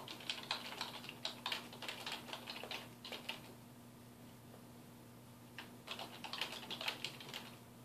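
Fingertips of both hands type on a black plastic computer keyboard resting on a wooden desk, producing quick, bright clicky key taps. A burst of typing runs for about three seconds, then there is a quiet pause with only a faint steady low hum, and then typing resumes in another flurry before trailing off.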